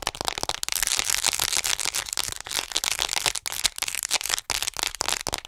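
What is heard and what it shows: Long nails rapidly tap and scratch the front of a hollow white plastic acupuncture model doll held upright. This produces a dense stream of crisp, dry, bright clicks and scrapes with almost no low end, each sound cutting off instantly.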